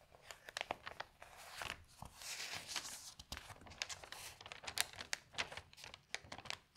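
Fingertips with long nails open a large folded newsprint newspaper, "de zondag," lying on a table and turn its thin pages. Quiet, bright, crinkling rustles come as many short, sharp crackles between softer swishes of sliding paper, with almost no low end.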